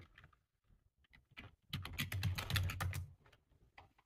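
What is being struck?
Plastic computer keyboard.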